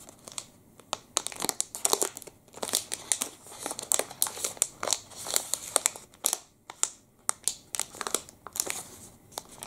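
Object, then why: Plastic candy wrapper. A long black and red plastic wrapper from a Pepe liquorice candy stick is bent and crinkled between the fingers. Steady, rapid bright crackles and sharp crinkles come in uneven bursts, each snapping off quickly with almost no low end.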